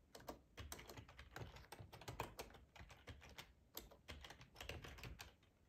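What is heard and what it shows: Fingertips type on a black plastic ergonomic split keyboard with a hollow housing, resting on a cloth tablecloth. A quiet, steady run of soft clacking keystrokes, each with a low thump and a brief bright click that dies away almost at once.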